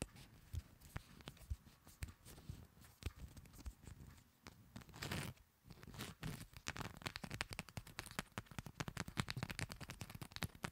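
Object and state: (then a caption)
Paper playing cards. Long nails tap and scratch the faces and edges of a fanned deck of coated paper playing cards held in both hands. The sound is quick, dry clicks and scratchy rustles, with a brief louder brushing swell in the middle. The taps grow denser and brighter toward the end.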